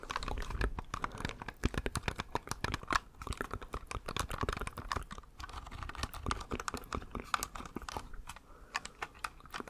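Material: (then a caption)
Plastic. A small, hollow, cream-coloured plastic computer mouse is held beside the microphone while fingertips click its buttons. Dozens of quick, sharp plastic clicks come in a rapid, uneven stream, each ending almost at once, with a hollow ring near 1.1 kHz and a soft low thud beneath.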